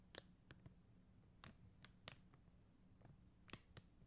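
Long acrylic nails tap and scratch across a flat plastic rhinestone sticker sheet of faceted plastic gem stickers. The result is sparse, quiet, bright clicks with a very short ring, separated by soft scratchy rustling over a low background hum.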